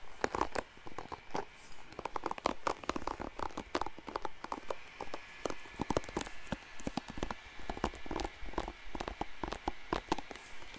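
Fingertips rapidly scratch and strum the bristles of a blue plastic paddle hairbrush held close to the mic. The result is a dense run of dry, crisp ticks and rustling scratches, each click sharp and quickly gone over a faint steady background hum.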